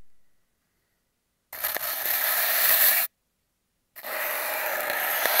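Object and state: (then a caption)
Cardboard tube scraped with sponge. A foam sponge with a blue scouring side is rubbed and scraped by hand along an empty, hollow cardboard toilet-paper tube that is taped down. Two separate passes of steady, bright, hissing scraping are heard, each lasting well over a second with a short silence between them. The sound has almost no low end.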